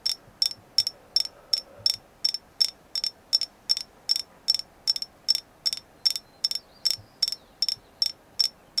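A carved agate moon goddess figure is tapped in a steady series of about two dozen short, bright clicks, each with a high, glassy ping. Every tap dies away almost instantly over a quiet background.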